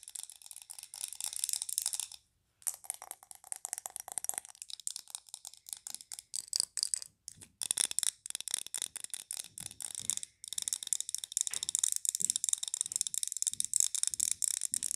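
Long nails rapidly tap and scratch a large glass candle jar filled with green wax, with a paper label and a glass lid. A quick, continuous stream of bright, dry clicks and scratchy ticks runs throughout, with almost no low end and brief pauses near 2 and 10 seconds.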